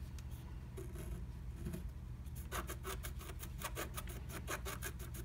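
A wooden stylus scratches a flat black-coated scratch art sheet inside a butterfly stencil cutout. Faint, scattered rasps in the first half give way to a quick run of bright, dry scratching strokes, all over a steady low hum.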